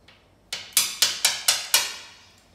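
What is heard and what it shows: Six sharp, bright knocks on the fully cured epoxy coating of a refinished bathtub, each a crisp high-pitched click with a short, clear ring. The sound is hard and ringing rather than dull, showing the coating has hardened like stone with a glass-bead finish, unlike ordinary paint, which would sound muffled.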